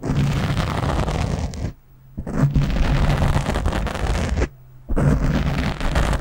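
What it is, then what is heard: Foam microphone windscreen being scratched. A fingernail scratches the sides and top of a black foam windscreen on a microphone, using one hand. It produces dense, loud, boomy rustling and crackling, heavy in the lows. The scratching stops for two short near-silent pauses before resuming.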